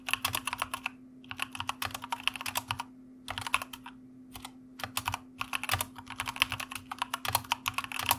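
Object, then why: Plastic mechanical keyboard. Fingertips type with both hands on a white plastic mechanical keyboard, making rapid, bright, crisp key clicks in quick bursts separated by short pauses. A faint steady low hum runs underneath throughout.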